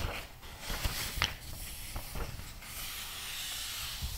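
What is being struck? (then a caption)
Glossy paper magazine. A thick glossy paper magazine lies open while fingertips rub its pages flat and turn them. Soft, continuous rubbing and hissy paper texture run throughout, with a brief bright crinkle near the middle and a few light taps along the way.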